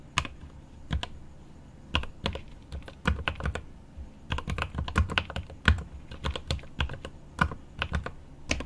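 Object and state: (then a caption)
Mechanical keyboard with plastic keycaps. Right-hand fingertips type on the plastic keycaps of a mechanical keyboard with an aluminum case. An irregular stream of short, dry keystrokes has a deep, thuddy body and a bright clack on top. Each strike dies away almost instantly.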